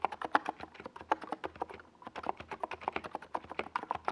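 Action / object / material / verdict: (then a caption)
tap / plastic mechanical keyboard / plastic / none. A NiZ Plum Atom 68, a compact 68-key mechanical keyboard with a hollow white plastic case and purple and yellow plastic Domikey Gas Attack SA keycaps, sits on a desk pad while both hands type on it with their fingertips. About 31 quick, dry clacks ring out around 850 Hz with almost no low end, and a brief lull falls near the middle. Each keystroke dies away almost instantly with a hollow plastic tone.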